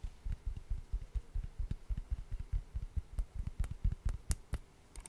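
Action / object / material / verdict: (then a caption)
tap / solid wood log slice / wood / none. A hand-sized solid wood slice with a bark edge is tapped rapidly with long orange nails close to the microphone. The result is a quick, uneven run of soft, dull, low knocks with almost no ring, and a few sharper, brighter clicks toward the end.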